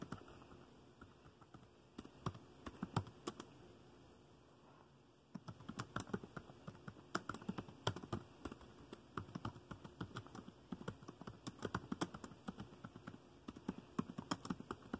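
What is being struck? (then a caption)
Plastic laptop keyboard. Fingertips type on the dark plastic keys of a laptop keyboard, producing soft, quick clicks and taps at a low level. A short burst of typing gives way to a brief quiet pause near the middle. Then a longer, steadier run of dense keystrokes follows to the end.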